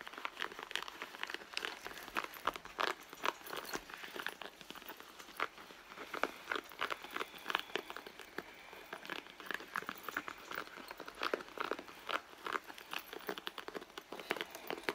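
Long nails scratch and rub the pebbled leather panel of a red leather handbag lying flat. A continuous run of dry, crinkly scratches and soft rasping strokes fills the clip, centered in the midrange with bright edges and no low rumble. Sharper scrapes stand out now and then over a steady textured rustle.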